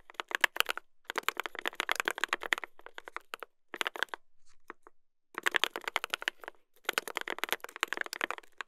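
Two hands type continuously with their fingertips on a mechanical keyboard with a brass plate and plastic keycaps. The result is rapid bursts of sharp, dry clacks centred around 1.7 kHz with bright highs and almost no low end. Short pauses fall between the typing runs.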